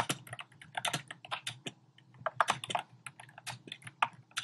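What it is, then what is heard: Plastic keyboard with round keycaps being typed on. Fingertips with short painted nails type rapidly on a compact keyboard with a black plastic frame and round pink, orange and cream plastic keycaps, resting on a desk. The key taps come as quick, uneven bursts of crisp, bright plastic clicks with a faint low thock beneath, each dying away almost instantly.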